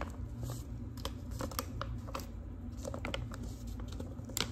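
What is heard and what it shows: Long pink acrylic nails tap and scratch across the surface of a large, thin, flat manila paper envelope. Sharp, papery clicks and crinkly scrapes come in quick succession over a steady low hum.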